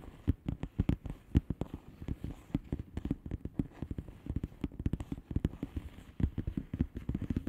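Long painted fingernails of both hands tap rapidly on the air-filled bubbles of a flat blue plastic bubble wrap envelope. A dense, uneven stream of quick, soft, low clicks and dull thuds follows, each one dying away at once with no ring.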